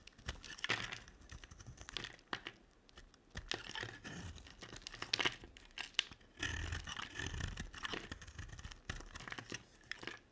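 A black utility-knife blade scrapes and shaves strips off the top of a solid, rounded-rectangular, dry white soap bar with dark speckles, about palm-sized and held in one hand. Dry, crackly shaving and crumbly scraping come in bright bursts separated by short quiet pauses.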